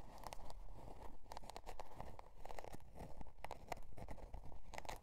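Long dark nails scratch the scale-pattern cardboard cover of a spiral-bound notebook resting on faux fur. Quick, dry, crinkly scratching strokes come in a steady, slightly uneven rhythm, each one a short bright rasp over a soft, low rumble.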